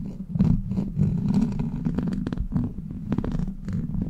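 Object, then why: Steel mesh microphone grille scratched and tapped with plastic nails. Long black plastic claw nails scratch and tap a hollow steel mesh microphone grille. The result is a dense low rumbling buzz around 176 Hz, broken by quick scratchy clicks and brief bright streaks that die away almost at once.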